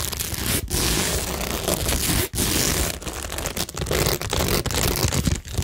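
Long nails scratch across rows of plastic rhinestones, gems and pearls set on a cork tingle board. The result is a dense, continuous scratchy rasp with a bright crackly edge and a low rumble underneath, broken by brief gaps where the nails lift off.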